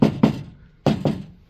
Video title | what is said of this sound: MODIGT Sound Deadener: Unboxing Review | you can hear some uh pretty good hollow stuff